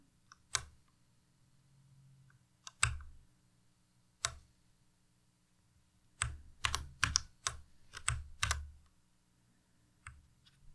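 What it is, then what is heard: Plastic mechanical keyboard. A white tenkeyless Ducky Miya Pro mechanical keyboard with plastic keycaps is typed on slowly with the fingertips, one key at a time, including the spacebar and arrow keys. Each press gives a short, sharp clack with a bright top and a low thudding body, with no ring. Isolated presses are separated by quiet pauses, and a quicker run of keystrokes comes in the middle.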